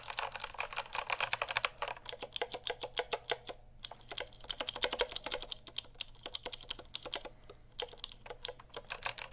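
Fingertips type and tap quickly on a full-size backlit mechanical keyboard with plastic keycaps, held near the mic. The result is rapid bursts of sharp, bright clicks with very little low end and almost no ring, separated by brief pauses.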